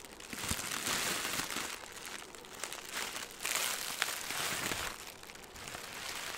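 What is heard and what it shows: A ball of green crinkly plastic film held in one hand is crumpled and squeezed with the fingers. It makes a dense, bright crackling and crinkling that swells and eases in waves, with sharp snaps scattered throughout and very little low end.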